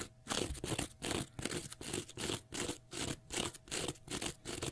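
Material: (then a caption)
Cellulose. Fingernails scratch vigorously across a small block of pale green, porous cellulose sponge. The result is a quick, uneven series of dry, crunchy, bright scraping strokes with short quiet gaps between them, each rasp stopping almost at once.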